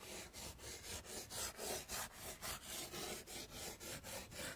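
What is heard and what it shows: Chalk scribbles a grass texture along the bottom of a wood-framed chalkboard with rapid scratching. Quick, rhythmic strokes of bright, dry rasping come about three to four times a second. Each stroke swells and fades with a brief dip between them.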